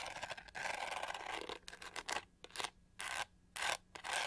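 Long nails scratch across the pink studded back of a hollow plastic hair brush with black bristles. The result is a string of dry, bright, raspy scraping bursts, starting as a continuous rub and breaking into short strokes separated by near-silent gaps.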